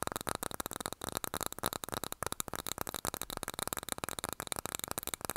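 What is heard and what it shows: A small glass candle jar filled with wax and topped with a cork lid is held in both hands and tapped on its glass sides with fingernails. Rapid, irregular streams of sharp, bright clicks follow one another closely, each dying away almost instantly with little low-end body.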